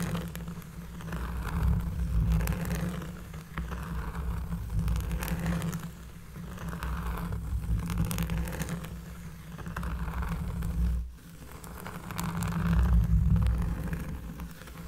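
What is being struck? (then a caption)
Cork trivet. Long fingernails of one hand scratch across a round, flat, solid cork trivet lying on a table. The sound is a deep, bassy, rustling scrape that swells and fades in slow waves, with almost no bright top end.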